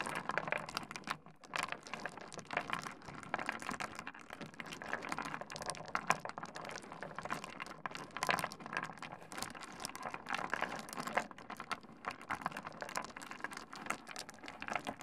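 Fingertips rub, push and clack a pile of small, solid stone pebbles together on a wooden desk. A steady stream of quick, dry clicks and gritty rattles sits mostly in the middle range with some brightness and almost no low end. Each clack dies away almost instantly.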